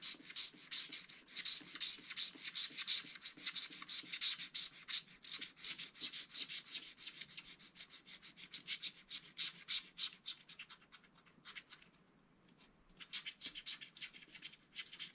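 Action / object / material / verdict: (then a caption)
scrape / wax-coated scratch-art paper scraped with a wooden stylus / coated paper / none. A wooden stylus scratches and rubs the black wax coating of a small spiral-bound scratch-art paper pad. Quick, rhythmic, bright scratching strokes come at about three per second, almost entirely high-pitched with no low end. They pause briefly near the twelve-second mark before resuming.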